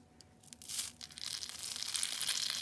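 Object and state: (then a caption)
Dry shredded soap crumbling. Bare fingers squeeze and crumble green, fist-sized balls of dried, shredded soap strands. A faint, sparse crackle swells into a dense, bright, papery crunching and tearing that keeps building toward the end, with almost no low end.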